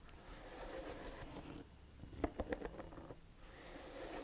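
Long nails tap and scratch the treads of a chunky, hollow-cleated beige rubber lug sole on a cognac suede ankle boot, held up with the sole facing out. Soft, dry scratching rasps frame a quick cluster of about five short, dull taps in the middle, with no ring.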